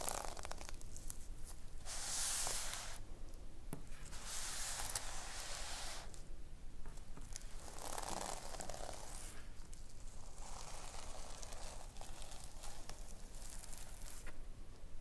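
Long nails scratch across a notebook covered in reversible plastic sequins on fabric, flipping the sequins back and forth. Bright, rasping swishes come in bursts of a few seconds each, with a crisp, tearing-like crackle over a steady low rumble.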